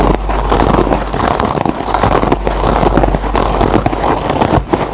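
A dry yellow foam kitchen sponge with a green nylon scouring layer is scratched and plucked by fingertips and short nails across its fibrous green surface. The result is a dense, continuous crackling rasp centered in the low mids, with a steady low rumble beneath it and only a faint high edge.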